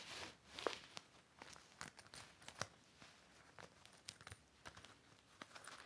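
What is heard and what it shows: A cloth wipes and rubs across the surface of an empty, large, flat, clear heavy vinyl/PVC hanging toiletry organizer, and fingertips press into the plastic. The result is quiet, irregular crinkles and short bright squeaks and taps, with one sharper squeak near the start.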